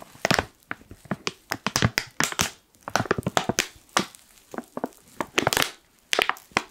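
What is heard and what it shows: The top edge of a black foil coffee pouch is pinched, crushed and crinkled with fingers. It makes a rapid series of sharp, bright crackling bursts with brief pauses between them, and each crinkle cuts off almost at once.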